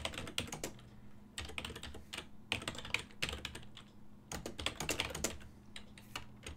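Fingertips press the keys of a full-size black and silver plastic desktop keyboard with a hollow housing, producing continuous rapid typing taps. The bright, short clicks come in quick bursts with brief pauses between them, over a steady low hum.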